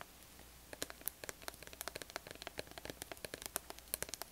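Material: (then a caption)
Plastic. Long acrylic nails tap and scratch the sides of a small, hollow, orange plastic body lotion bottle with a black flip cap, held in the hand. Quiet, sharp, bright clicks come in a quick, uneven stream with scratchy rustles between them, each dying away instantly with no ring. A faint, steady low hiss runs underneath.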